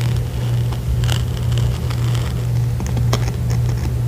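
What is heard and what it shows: Long acrylic nails scratch and drag across a small, soft, padded printed fabric makeup pouch with a metal zipper. A steady low hum runs underneath a continuous stream of dry, bright scratching and rustling strokes.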